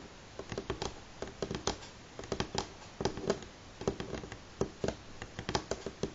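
Fingernails on both hands tap across a solid, light wooden table top. The result is a quick, irregular patter of short, dry clicks, each with a brief woody knock around 380 Hz that dies away almost at once over a quiet background.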